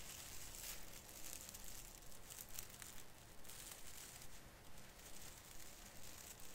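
Fingertips pinch and rub the lower branches of a small artificial fir tree with plastic needles, crinkling them. A quiet, continuous crisp crinkling and scratching with a bright hiss swells and fades in steady waves over a low background rumble.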